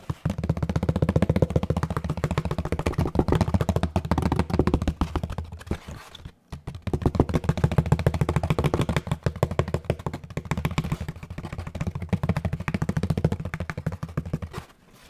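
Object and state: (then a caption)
Molded paper pulp packaging tray. Fingertips tap rapidly, like drumming, on a large hollow molded paper pulp packaging tray with its recessed side facing out. Quick, dull, low thuds with almost no ring form a fast, uneven patter, with a brief pause around six seconds before the drumming resumes.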